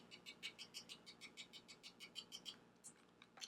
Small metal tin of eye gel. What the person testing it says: that sounds Hollow and empty